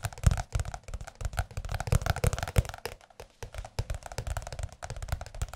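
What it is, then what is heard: Large softcover book. A large, blue, glossy softcover music book is tapped with the fingertips on its cover. The result is a rapid, uneven run of short, dull, low thumps with a light papery click on top and almost no ring, and a brief lull near the middle.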